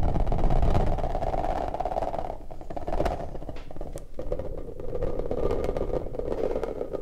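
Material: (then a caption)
Rubber. An orange rubber puffer ball is alternately squished and squeezed into a bulging bubble while fingers rub the rubber. The result is a steady, low, rubbery squelching and rubbing with a dense mid-range hum and scattered sharp crackles. It eases quieter in the middle before swelling again.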